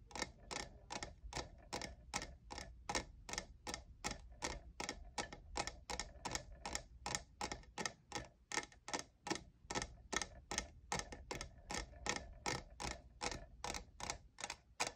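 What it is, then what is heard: Textured plastic tumbler tapped. Fingertips and nails tap the sides of a hollow, lavender, diamond-textured plastic cold cup, making 44 short, bright clicks at a quick, slightly uneven pace. Each tap is dry and dies away almost at once, with a tone centered near 1.8 kHz. A low, steady hum runs underneath throughout.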